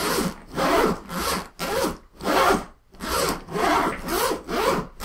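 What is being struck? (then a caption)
Woven nylon suitcase. Fingertips and palms brush and rub quickly across the top of a large, closed black woven-nylon suitcase lying flat on a table; it is hollow and looks empty. The result is a series of broad, rasping swishes that swell and fade in steady strokes, with a bright, hissy texture over a soft low body.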